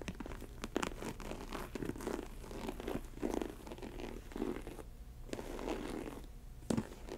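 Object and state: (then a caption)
Faux leather ankle boot. An empty snakeskin-print faux leather Chelsea ankle boot stands on a table while long acrylic nails scratch and tap its textured upper. Soft, dry scratching rasps mix with sharp, bright tapping clicks, repeated irregularly with brief quieter pauses.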